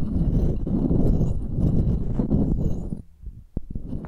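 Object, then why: Metal microphone mesh grille tapped and scratched with pearls. Pearls held between long-nailed fingers tap and scratch the mesh grilles of two identical silver metal microphones. A dense, low, rumbling scratch fills the first three seconds, then drops away to quieter sparse taps with one sharp tap near the end.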